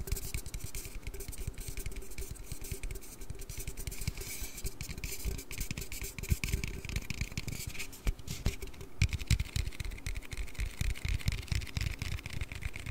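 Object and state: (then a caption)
Aluminium drink can. An aluminium Red Bull energy-drink can is tapped and handled in a quick, continuous stream of soft, dry taps and light scraping. The taps are quiet and low-heavy, with short bright clicks on top and almost no ring after each one.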